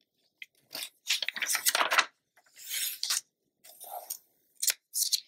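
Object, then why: Glossy paper magazine. Hands with long nails turn a thin page of an open glossy paper magazine lying flat, then rub and smooth the spread. Bright, crisp papery rustles and crinkles come in several bursts separated by short silences, followed by softer swishing strokes and a few sharp flicks at the end.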